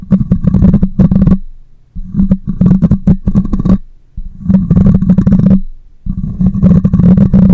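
Long nails scratch and fingers rub across the metal mesh grille of a black microphone, producing a close, heavy, low rumbling crackle with a dense scraping texture. The sound comes in four bursts separated by brief quiet gaps.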